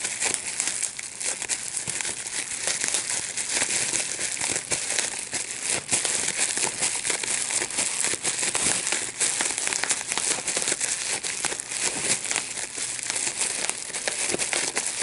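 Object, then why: Plastic bubble wrap sheet. A large sheet of clear plastic bubble wrap with small air bubbles is held in both hands while the bubbles are popped by pinching them with the fingertips and thumbs. Rapid, sharp, bright pops mix with constant crinkling of the plastic. The sound stays at a steady level throughout the clip.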